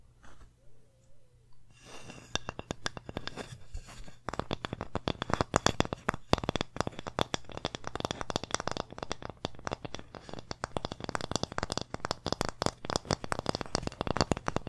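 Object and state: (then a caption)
Wooden sign, tapped and scratched. Long painted nails rapidly tap and scratch a flat, solid, hand-sized wooden pumpkin-shaped sign engraved "thankful." After about two seconds of soft rustling, a dense run of short, dry clicks and scrapes continues to the end over a faint steady low hum.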